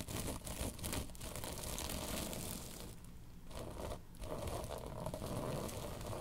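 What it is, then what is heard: Tapestry fabric pillow. Long pink nails scratch and tap a long cylindrical pillow covered in soft, padded woven tapestry fabric. The result is a steady, close crinkling and rustling scratch with a low, dull rumble underneath. Brief quieter dips occur around the middle.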